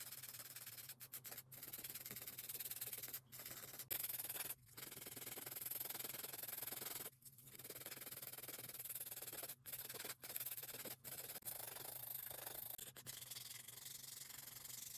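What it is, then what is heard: Acrylic nails being filed. A grey emery board held in a gloved hand is rubbed back and forth along long acrylic nail extensions, giving a steady, bright, raspy filing scrape. The strokes run almost continuously, broken by brief pauses, over a faint low hum.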